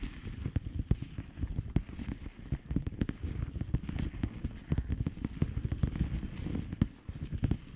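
Long polished fingernails tap and scratch quickly on a flat blue plastic bubble wrap envelope. The result is a dense, uneven stream of soft, muffled clicks and crackles. The sound is dull and low-heavy, with almost no bright top end.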